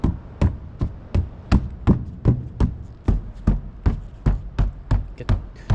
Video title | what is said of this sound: 아우디 디젤 차량 중고차 구매 시 주의사항 - 중고차 구매대행 | 소리가 나면 안 되고 그리고 둥탁한 소리가 나야 되는데이 안에 어떤 방음체가 또 분명히 붙어 있거든요